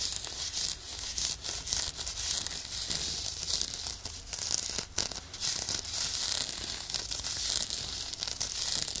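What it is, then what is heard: Nylon exfoliating glove being scratched. Medium fingernails scratch and rub the bumpy surface of a hand-sized, soft, hollow woven nylon exfoliation glove worn on one hand and held beside the left ear of a microphone. The result is a dense, continuous bright scratching and crinkling texture, with almost no low end.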